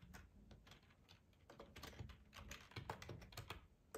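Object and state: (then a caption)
Plastic computer keyboard. Fingertips of both hands type on a black plastic ergonomic split computer keyboard with a hollow housing, lying on a tablecloth. A quick, uneven run of soft, short key taps clicks along, each with a brief bright edge over a hollow low thud, swelling a little louder toward the end.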